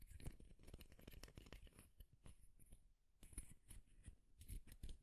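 Fingernails strum and flick across the long teeth of a light wooden comb, making rapid, soft, dry clicking plucks with quick bright ticks over a low, muffled body. The flurry of short snaps runs steadily, dips into a brief lull near the three-second mark, then resumes in quick clustered bursts.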